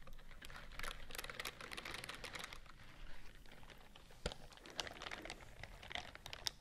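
Long nails scratch and tap along the bristle rows of a white silicone dish glove worn on one hand close to the mic. The result is a dense, bright crackling and scratching texture, like rapid typing or crinkling, broken by a few sharper clicks, the clearest near the middle of the clip.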